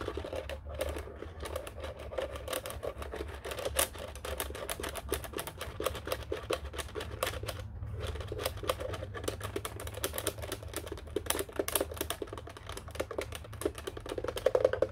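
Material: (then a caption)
Plastic. Fingertips tap and press the function buttons on a black plastic office telephone keypad. Quick, dense plastic clicks run almost continuously over a steady low hum, with a brief pause near the middle. Each click is short and dry, with a hollow mid-range tone.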